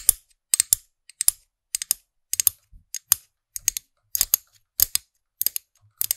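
Long nails tap and scratch the small hard plastic orange-haired character head of a figurine-topped pen toy, mounted on a black plastic stem, right beside the microphone. The result is a quick, irregular run of crisp, bright plastic clicks and scratches, often in close pairs, each dying away almost instantly with almost no low end.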